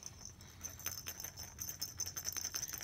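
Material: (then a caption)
Metal bell. A small plush baby toy with a little rattle or jingle-bell insert inside is shaken. It gives a quick series of light, bright jingling taps over a steady high metallic ring, with very little low end.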